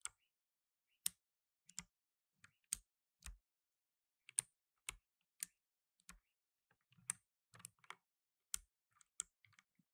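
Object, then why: Mechanical keyboard with plastic keycaps. Blue nitrile-gloved fingertips type slowly on a black tenkeyless mechanical keyboard with plastic keycaps. About 17 separate, quiet keystrokes are heard as sharp, bright clicks that stop almost instantly, with short silent gaps between them.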